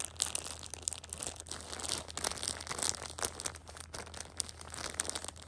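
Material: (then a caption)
Plastic film. A Shopkins pocket tissue multipack in clear plastic wrap is handled as long painted nails tap and scratch the film and fingers rub across the crinkly plastic. Close, bright crackling and crinkling with sharp ticks runs continuously, sitting mostly in the high range with little low end and a steady faint hum underneath.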